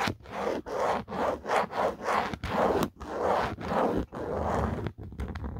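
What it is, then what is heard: Plastic phone case. Fingertips and a nail scratch and rub the textured plastic back of an empty black Otterbox phone case. A steady run of short, dry rasping strokes follows one after another, each separated by a brief gap. The strokes sit mostly in the midrange, with little low rumble or high hiss.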